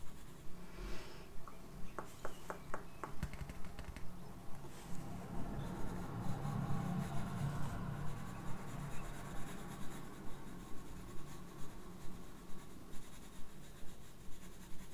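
A yellow-and-black wooden graphite pencil draws short strokes across the page of a large spiral-bound paper sketchbook held upright in one hand, making soft scratching and rubbing sounds. A steady, regular low pulse, a little over once per second, runs under the strokes, with a few quick bright ticks early on.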